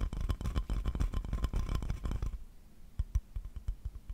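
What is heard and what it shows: Fingertips rub and scratch a solid, empty glazed ceramic owl plate held close to the microphone, producing dense, low-heavy scraping and tapping with some bright grit for about two seconds. The plate is then held up still at the end, leaving quieter, scattered soft clicks and thumps.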